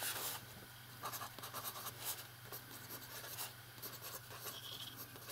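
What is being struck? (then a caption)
Metal pen nib on notebook paper. A metal fountain pen nib writes on the page of an open lined paper notebook resting on a desk, while the other hand holds the page flat. Bright, dry scratching comes in short bursts and strokes as the nib drags across the paper, over a faint steady low hum.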